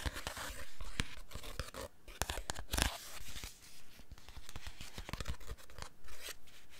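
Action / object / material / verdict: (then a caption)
scrape / paper pouch with foil lining / paper and foil / none. Fingertips and nails crinkle, scratch and handle a small paper pouch with a foil lining that seems to be filled. There are close, crisp crackles and rustles with sharp, bright ticks and short scraping bursts, set over a soft low rumble. The sounds rise and fall in uneven bunches throughout.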